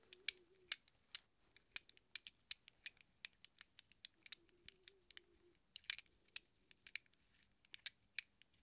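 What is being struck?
Small chrome-plated steel wrench sockets.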